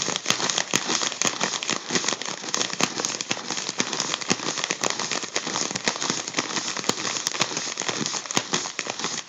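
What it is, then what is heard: Crinkled foil balloon. Fingertips crinkle and pinch a crumpled section of a gold mylar foil balloon. A dense, continuous crackle of sharp, bright snaps sits over a steady hiss, with almost no low end and no pauses in the steady crinkling.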